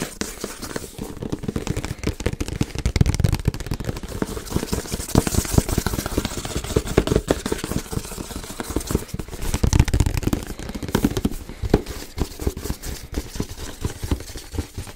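Fingers tap and knock on a medium-sized black and teal printed cardboard box for a Yeti microphone as it is held and tilted. The result is a dense, rapid stream of dull, hollow, low thuds and crackly taps with almost no ring, occasionally swelling into heavier knocks.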